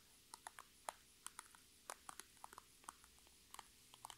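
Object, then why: Transparent PVC cosmetic bag with items inside. Long red nails tap and scratch an iridescent, holographic transparent PVC Sephora cosmetic bag that holds items and rests on a table. About fifteen short, crisp plastic ticks and clicks land at an uneven, unhurried pace. Each one is sharp and bright with almost no ring, over a faint steady hum.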